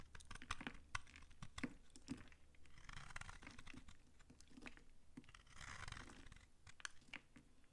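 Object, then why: Soap bar scraped by a knife. A utility knife scrapes chips off a solid, old, dry pink soap bar held in the hand. It makes a quick series of crisp, dry crunches and clicks, broken by two longer rasping scrapes, and each sharp snap dies away almost instantly.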